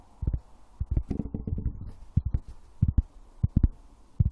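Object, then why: Wooden object. Wood is tapped, producing soft, dull, low thumps in an uneven rhythm, with a quicker flurry of taps near the middle. Each tap is short and dies away almost at once with no ring, leaving quiet pauses between the pairs and clusters of knocks.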